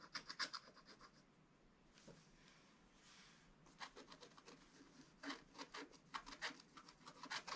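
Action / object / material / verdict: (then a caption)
scrape / scratch-art paper page with a wooden stylus / coated paper / none. A wooden scratch stylus scrapes away the black coating of a scratch-art page in a spiral book resting on a table, using short strokes. Quick bursts of bright, dry scratching come in clusters, with a softer, steadier rubbing passage in the middle before the crisp strokes return.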